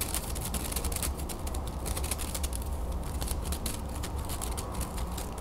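Long nails scratch and flick along the edges of a folded wooden hand fan with thin carved slats, held in the hand. The result is a dense run of fast, dry clicks and scratchy ticks with bright edges, over a steady low hum.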